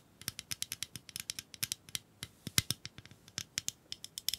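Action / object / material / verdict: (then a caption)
tap / small plastic pencil sharpener / plastic / none. Long acrylic nails tap and scratch a small hollow pink plastic bunny-shaped pencil sharpener held up by the fingertips. There are 27 quick, dry, bright clicks with almost no ring, spaced irregularly over a few seconds with a faint scratchy hiss between them.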